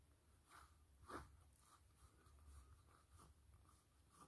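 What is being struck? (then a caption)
Faux leather glasses case. Long acrylic fingernails tap and scratch the flat surface of a black textured faux-leather (PU) glasses case with a blue band, hollow and closed, lying on a foil mat. Quiet, soft ticking taps and brief bright scratches repeat over a low steady hum, with one slightly louder tap near the start.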